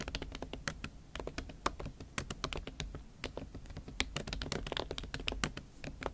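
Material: Silicone.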